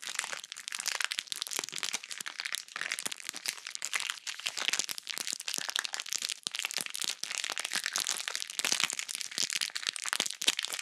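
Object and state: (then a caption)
Plastic bag of bead slime. A small, full, clear plastic bag of purple glittery bead slime is held in front of the microphone without touching it and squeezed in the hand with fingers and long nails. Dense, bright crackling and crinkling continues without a break, a busy stream of tiny sharp clicks and crunches with almost no low end.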